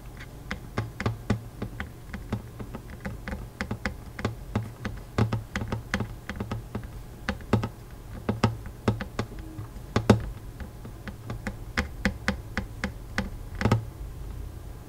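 Fingertips tap and drum lightly on the steel strings of a hollow wooden acoustic guitar, over the soundhole and fretboard. Dozens of quick, soft clicks with very short decay sound in an uneven rhythm, above a steady low hum. The result is a quiet, dry tapping that sounds much like typing.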